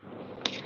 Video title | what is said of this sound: CY is live - ASK Coffee Roastery Singapore Vlog 7 Feb 2024 | When I knock it, it's solid.